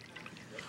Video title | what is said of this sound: The Martha Stewart Show - S1 E147 30 Things Everyone Should Know Part 2 | Make sure you hear a lot of liquid inside.